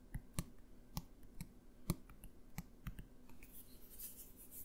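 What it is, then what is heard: Plastic bottle. A blue plastic bottle, held in one hand, is tapped with the fingertips of the other hand. About eleven soft, dry taps come at an irregular pace, each a short low thud with a faint bright click that dies away almost at once. A light, high rustle rises near the end.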